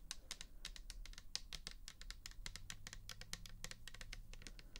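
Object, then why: Plastic bottle of liquid. Long nails tap rapidly on the bare plastic back and side of a pink plastic toner bottle filled with liquid. The result is a quick, steady patter of short, bright clicks that fade almost at once, over a low background hum.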